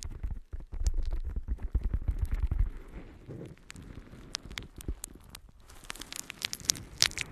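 A yellow, porous natural sea sponge held in both hands is scratched and squeezed with long nails. Dense, low, muffled squishing and rustling fill the first few seconds, then thin into quieter scratchy crackling with sharp, bright clicks near the end.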